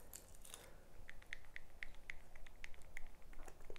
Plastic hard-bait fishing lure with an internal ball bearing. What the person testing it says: it's just a small little tap tap tap tap tap it's a very muted rattle